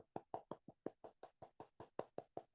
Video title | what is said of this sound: Vestige Product Demonstration | ये चिप अलग से है कहते कि इसको ऐसे हिला के बताएंगे आवाज आ रही